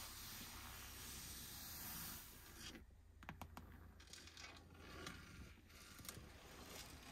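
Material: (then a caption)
Faux leather. Long nails and fingertips rub and scratch across the grain of the padded grey textured faux leather centre armrest lid in a Mercedes EQB, a solid, padded surface. A soft, steady hiss over a low hum gives way to quieter, bright scratchy rasps. Several sharp, short ticks stand out, especially after about three seconds.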